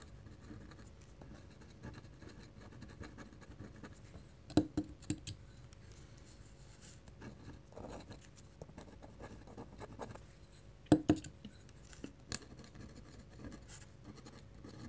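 A black pen's metal nib scratches rapid parallel hatching strokes across a flat white paper sheet. The sound is a soft, steady papery scratching with a few sharper ticks standing out.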